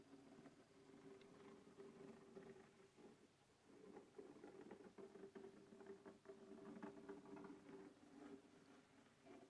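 Fingernails scratch the lid of a closed black textured hard plastic case resting on a wooden table. The result is a steady, soft, papery scratching with a dull midrange hum, easing briefly around three seconds before resuming with slightly sharper strokes.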